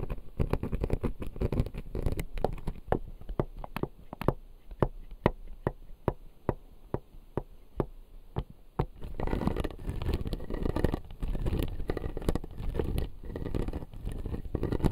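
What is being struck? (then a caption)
Plastic teeth on an acrylic dental model. Fingertips and nails tap the upper and lower front teeth of a clear acrylic dental model with blue plastic teeth, making short, dull clicks that die away almost at once. The taps come in a steady, separate run for about nine seconds, then give way to denser scratching and rubbing with a soft, low-heavy tone.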